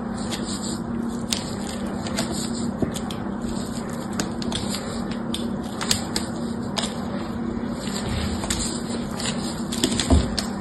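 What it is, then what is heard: Soap bar being carved. A solid rectangular blue bar of soap, held by fingertips with yellow nails, has its surface scratched and carved with a thin pointed tool. Soft crackling scrapes and sharp, bright ticks come over a steady low hum. The occasional louder snap stands out near the end.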